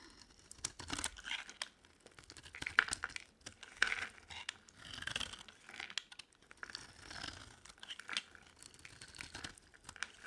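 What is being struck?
Bar of soap cut with a knife blade.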